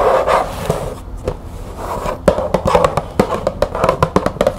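Long nails tap and scratch a small printed cardboard green tea box held in the hands. A soft, papery scratching rasp comes first, then a fast run of short, dry, mid-pitched taps that stop dead with no ring.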